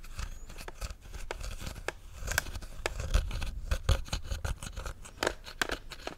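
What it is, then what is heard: Hollow plastic helmet. Fingertips and nails tap and scratch across the outer shell of a hollow, empty white-and-black plastic Stormtrooper helmet held close. Quick, dry clicks and light scrapes follow one another in a steady stream over a low rumble.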